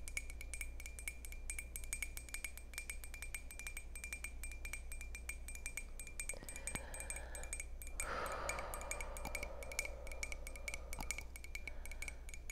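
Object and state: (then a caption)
Ceramic mug. A glossy red ceramic coffee mug of medium size, hollow, held in both hands, is tapped on its outer wall with long purple acrylic nails. Rapid, steady clicking taps ring with a bright tone near 2.3 kHz over a constant low hum. Around the eight-second mark a softer, fuller ringing swell rises beneath the taps.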